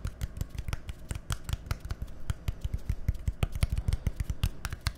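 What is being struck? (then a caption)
Small plastic bottle. A small labeled, hollow plastic bottle with a green cap is tapped rapidly with fingernails, about 28 quick taps over five seconds. Each tap is a short, dry click with a hollow low thump, dying away almost at once, in an uneven, steady patter.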